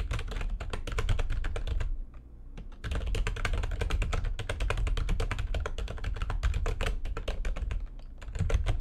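Fingertips and long nails type fast on a backlit plastic computer keyboard, producing a dense, rapid stream of short clicking key strikes with a deep, thuddy low end. The typing pauses briefly around the two-second mark and again near eight seconds before resuming.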